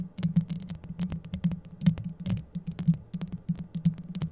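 Long yellow acrylic nails scratch rapidly up and down the rounded, hollow metal mesh grille of a microphone. The result is a dense run of scratching strokes, each a low, boomy thud with bright, crisp clicks on top. The strokes are close-miked and fall at an uneven, quick pace.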